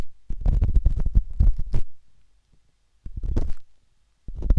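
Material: Silicone.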